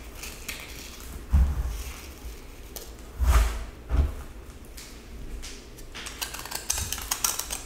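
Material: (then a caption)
Pressed salt. A yellow utility knife blade scrapes and cuts with repeated strokes into a small, solid, hand-held cylinder of pressed colored salt with a silver-grey glitter coating, shedding crumbly salt. Dull, low thuds stand out at about 1.3, 3.3 and 4 seconds. Gritty, bright scraping and crackling fill the gaps and grow denser toward the end.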